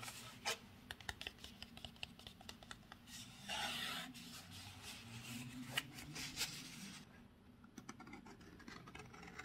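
Fingertips and short nails rub and scratch across the embossed surface of a pink textured paperboard Narciso Rodriguez For Her perfume box, about 15 cm tall, hollow and closed, held in the hands. Bright, dry scratching mixes with sharp little clicks and a longer rubbing swish in the middle. The sound grows softer toward the end.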